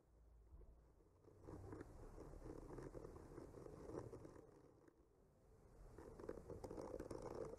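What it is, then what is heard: Painted wooden panel scratched with a skewer. The tip of a bamboo skewer slowly traces and scratches across a solid wood panel painted with trees. It makes a soft, dry scratching and scraping that swells after the first second, fades briefly around the middle, then grows again toward the end. The sound is low and muffled rather than bright.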